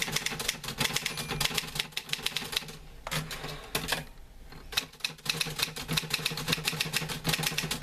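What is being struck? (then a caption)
Metal manual typewriter. Both hands type with their fingertips on a green-grey metal portable manual typewriter with paper loaded. Quick, bright, dry key clacks come in steady bursts, with a quieter pause in the middle before the rapid typing picks up again.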